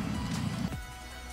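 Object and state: Nothing is struck.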